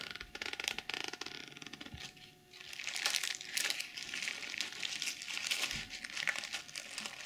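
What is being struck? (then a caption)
Small pouch covered in plastic sequins. Long nails scratch across a small zippered pouch covered in pink and silver reversible plastic sequins, flipping them over. The sound is a dense, bright, crinkly rasp of many tiny clicks that eases off briefly near the middle, then returns in fuller, busier strokes until the end.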